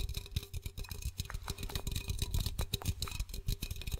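Fingertips with short nails tap and scratch the side of a blue Pepsi 330 ml aluminum can, likely closed and hollow, held in one hand. About twenty quick, dry taps land in an irregular series, each with a dull, hollow low thump and a bright, scratchy click on top. They die away almost instantly with no ring.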